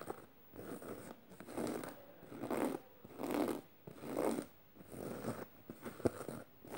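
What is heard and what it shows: Medium red-painted nails and fingertips scratch over a black canvas tote bag covered in rows of metal studs, lying flat on purple fleece, with a beaded bracelet on the wrist possibly adding faint clicks. Dry, raspy scratching strokes swell and fade about once a second in an uneven rhythm. The sound sits mostly in the low mids with little bass and some thin high hiss.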